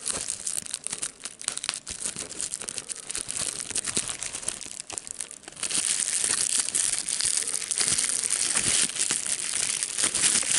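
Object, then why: Plastic bubble wrap sheet. A small piece of clear plastic bubble wrap, held between the fingers, is crinkled while its air bubbles are popped, giving sharp, bright snaps over a dry rustle. About halfway through, the crinkling turns louder and denser, becoming a steady, hissy crackle that lasts to the end.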